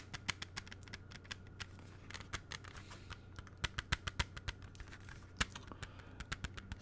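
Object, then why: Plastic CD jewel case. A closed, clear plastic CD jewel case is held in both hands and tapped with the fingertips. The result is a quick, irregular patter of short, crisp clicks with bright, sharp attacks that die away almost instantly, some louder than others. A faint, steady low hum sits underneath.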